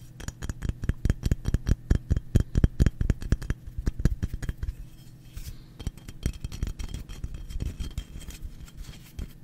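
A hand-sized, solid, translucent white paraffin wax slab held in the hands is tapped and scratched with fingertips and nails. Quick, dull, dry taps with very short decay come in a fast, uneven run for the first five seconds. They give way to softer, scratchier rubbing and scattered taps for the rest of the clip.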